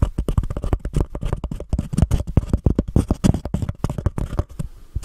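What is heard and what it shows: Long painted nails scratch the sides of a small, empty, white embossed paper cup held over a Blue Yeti microphone. The result is a fast, dense run of dry scratching strokes with a heavy, boomy low end and little brightness, each stroke ending abruptly.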